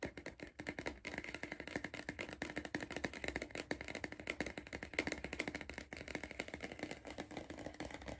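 A hollow Pringles cardboard crisp tube is held in the hand while fingertips and nails rapidly tap its side wall. The result is a dense, continuous stream of short, dry, papery clicks and rattles. Each tap is bright and hollow, with a resonance around 2.1 kHz, and dies away almost at once.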